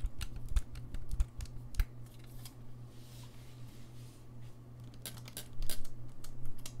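Fingertips tap and click the keys along the body of a gold-lacquered brass saxophone. Sharp, bright clicks come in quick bursts over a steady low hum, thin out into a quieter stretch midway, then return in a denser, louder cluster near the end.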